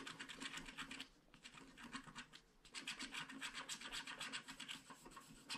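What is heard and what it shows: A wooden stylus scratches swirl patterns into the cloud on a flat paper scratch-art card with a black coating. It makes a dense run of bright, dry scratching strokes, which fade to quieter, sparser scraping for about a second and a half before picking back up to the same steady scratching.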